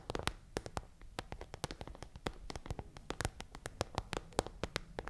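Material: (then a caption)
Plastic. Rapid taps of long fingernails on an iridescent holographic plastic pencil case pouch held upright. About thirty quick, dry clicks land unevenly over a soft low background, each one short and crisp with almost no ring.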